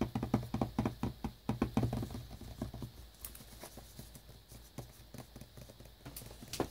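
A small, flat, hollow cardboard earbuds box, still in its plastic shrink wrap and lying on a brown towel, is tapped rapidly with fingertips and short nails. The taps are quick, dull, hollow knocks with a low body and almost no ring, strongest over the first two seconds. They then fade to softer, scattered taps, with a few brighter nail clicks toward the end.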